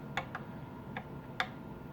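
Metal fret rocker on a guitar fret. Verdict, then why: Level. A fret rocker is set across a metal guitar fret at a new position and tapped, giving four light, short metallic ticks over a faint steady background hum. Here the rocker does not rock, so this fret is level, unlike the high fret found before.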